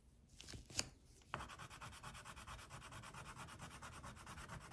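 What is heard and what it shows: An orange wax crayon gripped in the fingers is rubbed in short strokes over the tiger's body on a flat white paper coloring sheet. Three light taps come first, then a steady run of quick, rhythmic, bright waxy scratching strokes.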